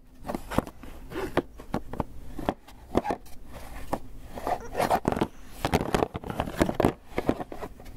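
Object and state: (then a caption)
Styrofoam takeout box. Fingernails tap and scratch a small, closed, hollow white polystyrene foam clamshell takeout box held in one hand. The result is a rapid, irregular run of sharp, dry clicks and short hollow knocks mixed with brief squeaky scrapes, all quickly damped with almost no ring.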